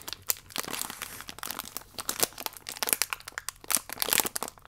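A thin plastic biscuit wrapper held vertically is scratched with fingernails and crinkled with fingertips. The result is dense, bright crackling and crisp scratching that is mostly high-pitched, with almost no low end and very short, dry bursts.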